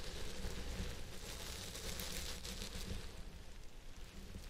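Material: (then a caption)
Synthetic fiber. A purple synthetic fiber wig on a head form is scratched on both sides at once with the fingertips and nails of both hands. The result is a steady, dense crackling hiss with a bright high edge over a low rumble. It eases slightly toward the end.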